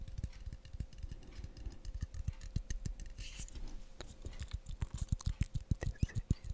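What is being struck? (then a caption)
Metal aerosol spray can. A hand-sized, blue, hollow, pressurised cylindrical metal aerosol can, likely shaving foam or deodorant, is held horizontally and then upright close to the microphone while fingertips and nails tap and handle it. Rapid, irregular, dull low taps with almost no ring come in quick succession, with faint scratchy handling noise in between. The taps grow louder and more distinct toward the end.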